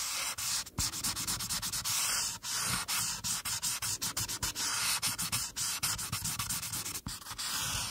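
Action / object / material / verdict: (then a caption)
scrape / marker tip on a paper sheet over a clipboard / paper / none. A marker tip is rubbed along the top border of a flat paper coloring sheet on a clipboard, with a hand with long nails resting on the page. The result is a steady, bright, scratchy rubbing sound broken by many quick strokes and brief pauses.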